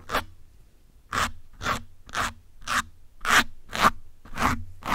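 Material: Foam.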